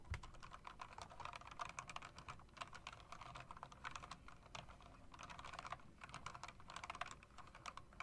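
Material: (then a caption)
Plastic. Fingertips with long dark nails tap the keys of a typewriter-style mechanical keyboard with round plastic keycaps and metal rims. The result is a quick, steady stream of short, dry clicks with a bright edge and a low, soft thump beneath.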